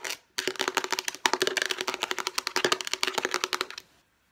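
Long painted nails tap fast on a light blue, rounded rectangular, hand-sized storage case of hollow hard plastic. The result is a rapid, dense stream of sharp, bright clicks with almost no ring, running steadily for about three and a half seconds before stopping.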